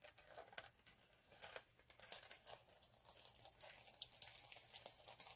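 Both hands scratch the surface of a flat, multicolour chunky glitter sheet lying on a dark cloth, using short nails and fingertips. The result is quiet, bright, crinkly scratching made of many quick, dry ticks and rasps with almost no low end, growing busier toward the end.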